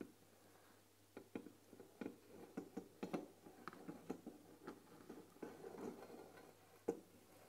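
Long nails tap and scratch the glass lid of a closed, white painted wooden tea box filled with tea bags. Soft, irregular clicks and light scraping patter along quietly, with a dull, short-lived ring that fades almost at once. One slightly sharper tap stands out near the end.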